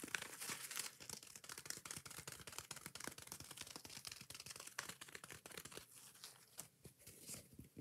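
Long nails scratch fast and aggressively across the green abrasive scouring pad of a foam kitchen sponge held close. The result is a dense run of quick, dry, bright scraping and crinkling strokes with little low end. The strokes are steady throughout, and a few sharper hits stand out.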